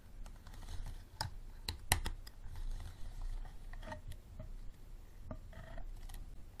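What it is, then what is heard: Plastic water bottle tapped with fingernails. Fingernails tap the sides of an empty, clear, unlabeled plastic bottle standing upright, making hollow, sharp clicks. The taps come irregularly, with quick bright edges that die away almost at once, over a soft, low background rumble.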